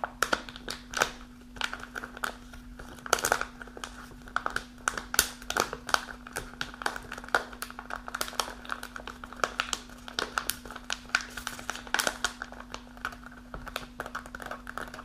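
Long nails scratch and crinkle the front and top of a kraft paper snack pouch that is held upright and partly full. The result is dense, dry crinkling and scratching, with quick, bright, sharp bursts that die away almost instantly, all over a faint steady low hum.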